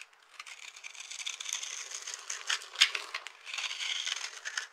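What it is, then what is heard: Dry soap bar being scraped. A knife blade scrapes and cuts across the top of a solid rectangular bar of dry purple soap with a dark, glitter-covered cut surface, held in one hand. Small soap flakes crunch off in dense, bright, crackling scrapes with no low end, with a sharp louder snap near the middle.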